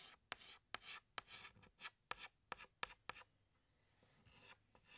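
A hand draws leaves with a green chalk stick on a large, flat black chalkboard, scratching it. Sharp chalk taps alternate with short, bright, raspy strokes, then a quieter stretch of faint scraping, and a final stroke swells near the end.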